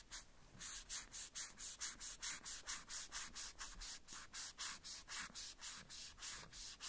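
A small hollow red plastic cowboy boot from a Woody doll is wiped and rubbed with a white cloth strip held between the fingers. About two dozen quick, steady back-and-forth strokes each make a soft, bright, hissing swish. The result is a quiet, even rhythm of rubbing with little low end.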